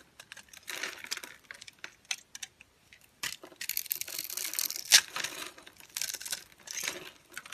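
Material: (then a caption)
Soap. A green-handled metal utility knife shaves small cubes off the edge of a solid, pale yellow, grid-scored dry translucent soap bar held in the hand. Dry, bright crunching and crackling comes in short bursts between brief pauses, with a sharp snap near the five-second mark.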